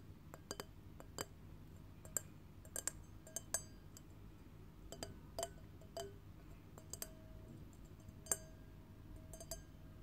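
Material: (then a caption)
Glass. An empty clear glass wine glass on a stem, held in one hand, is tapped with long painted fingernails. The taps come at an irregular pace as sharp, bright clicks and clinks, some leaving a brief faint ring. A steady low hum runs underneath.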